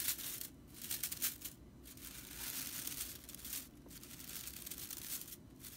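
Long purple-painted nails scratch and rake across the dry, light, fibrous tips of a dense fan of natural straw (broomcorn) bristles on a whisk broom lying on a wooden table. The result is a dense, bright, dry crackling rattle, mostly high-pitched with little low end, swelling and easing in uneven bursts with brief quieter gaps.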